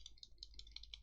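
A loose button on a Smoant Pasito vape pod mod rattles as the device is moved and flicked, producing a quick series of light, high-pitched plastic clicks over a steady low hum. The rattle is a fault; the button should have been stiffer.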